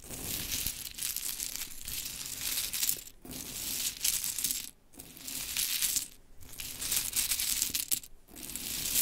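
Long chrome nails pick up, drop and rake handfuls of mini pink wooden clothespins in a pile. The pins give off a dense, bright clatter that runs almost nonstop, broken by a few short near-silent pauses, with short dry clicks and almost no low end.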